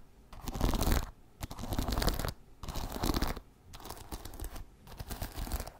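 Fingernails scratch the wooden bristles of a wooden paddle hairbrush held close to the mic. The sound comes in five bursts of dry, crackly scratching, each with a deep, boomy low end from the closeness, separated by short quiet gaps.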